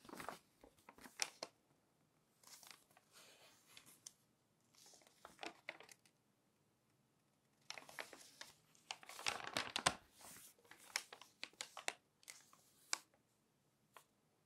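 A long nail lifts the edge of a glossy magazine page and flips it while fingertips rest on and rub the paper. The result is bursts of bright, crisp crinkling and papery rustles, separated by short quiet pauses, with a denser flurry of crackling near the end.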